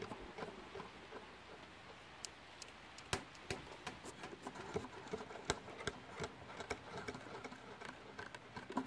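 Long painted nails tap and scratch a medium, flat, white cardboard mailer box, closed and hollow, held up close to the microphone. Quiet, irregularly spaced dry clicks and hollow taps, each dying away almost instantly, sit over a soft continuous scratching hiss with a mid-toned boxy body and bright edges.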